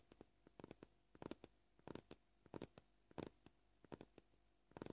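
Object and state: Plastic cutting board.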